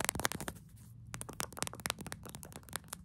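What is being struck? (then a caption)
Soft plastic squeeze tube tapped and scratched with fingernails. Long acrylic nails tap and scratch quickly on a small pink soft plastic Summer Fridays lip balm squeeze tube, hollow and partly filled, held close. The result is a rapid series of sharp, bright clicks with dry scratchy scrapes between them and a faint low rumble beneath.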